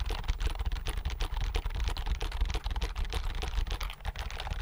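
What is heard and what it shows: Fingertips quickly press and tap the keys of a slim white plastic computer keyboard held tilted near the microphone. The result is a rapid, dense stream of short clicks and clacks with a strong low thump beneath each keystroke and very little ring.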